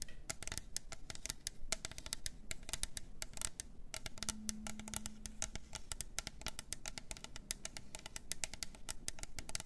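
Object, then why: Plastic tumbler cup with lid. Long nails tap quickly on the sides of a hollow plastic glitter tumbler cup with a lid. The result is a fast, steady stream of sharp, dry clicks with bright high edges and almost no ring. A low background rumble sits underneath, and a faint brief hum appears midway.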